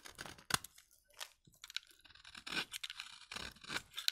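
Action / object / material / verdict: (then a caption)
scrape / bar soap shaved with a blade / soap / none. A utility knife blade scrapes across a solid, pale, dry vintage soap bar, shaving fine curls off its surface. The result is a series of dry, crisp, bright scraping and crunching strokes with very little low end, separated by brief quiet gaps.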